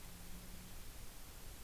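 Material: Nothing is struck.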